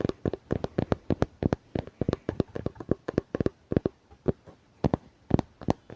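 Fingertips tap on a hardcover book in a quick, dense run of dry, short knocks. The taps come in uneven clusters with brief pauses between them, and each is low-toned and dies away almost instantly.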